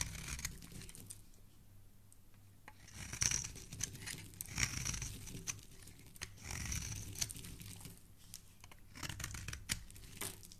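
A metal utility knife blade scrapes and carves the edge of a solid pink soap bar held in the hand, peeling off long curled shavings. The result is a series of crisp, bright scraping and shaving strokes with a high hiss, over a soft low rumble.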